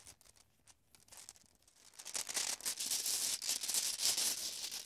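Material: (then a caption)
Glass. Glass marbles are shaken and jostled inside a bag, making a bright, clicky rattle. Sparse, quiet clinks for the first two seconds build into a louder, dense, continuous rattling that lasts to the end.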